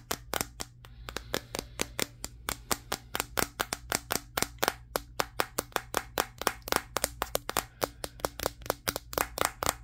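Fingertips and short nails tap and scratch the matte glass back of a Samsung Galaxy S23 near its camera lenses, close up. Around 45 sharp, bright clicks come in a quick, uneven rhythm. Each dies away almost instantly over a faint low hum.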